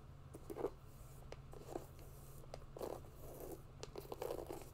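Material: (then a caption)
Synthetic mesh. Long nails scratch and tap along the synthetic upper of an empty grey mesh and synthetic hiking sneaker. Soft, crunchy scraping bursts and brief sharp clicks come and go over a steady low hum. The sound stays quiet throughout.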